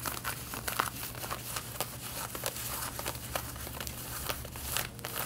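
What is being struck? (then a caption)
Denim jeans fabric. Long red-painted nails scratch the front waistband of light blue denim jeans being worn, making a dry, rough scratching and crinkling sound. Bright, quick strokes overlap in a steady stream over a faint low hum.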